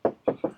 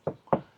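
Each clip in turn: First: car body panel with thick body filler (past dent repair). Second: sound car body panel, thin filler.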